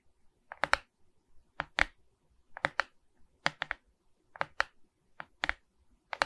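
Long red nails tap and scratch the bead surface of a framed diamond painting made of resin beads on a wooden canvas board, held upright. About seventeen sharp, dry, bright clicks arrive in quick clusters of two or three, each dying away almost instantly over a quiet background.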